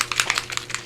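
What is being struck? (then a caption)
Plastic spray bottle with a mixing ball. A plastic spray ink bottle is shaken before use, and the mixing ball inside rattles against the walls. It makes a quick series of short, bright, clicky knocks with almost no low end. The rattle shows the bottle holds an agitator ball for mixing the ink.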